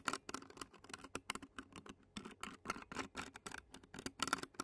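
Clear plastic fork tines scratch rapidly across the black metal mesh grille of a handheld Zoom recorder. The result is a quick run of short, crisp, brittle scrapes with a bright, airy edge and almost no low end. Each stroke dies away almost instantly.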